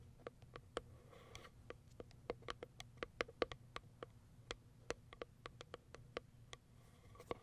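Long white acrylic nails tap and scratch the top of a small white printed Kiara Sky cardboard product box, likely holding a product. A steady run of quick, dry, clicky taps with a slightly hollow tone, each one dying away almost instantly, is heard over faint scratching and a low background hum.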